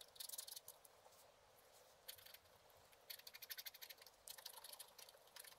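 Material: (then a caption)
Coated paper. A wooden stylus scratches across a black-coated scratch art card lying flat, working near the bottom edge. Quiet, bright, dry scratching rasps come in quick clusters of short strokes, separated by brief pauses, with almost no low end.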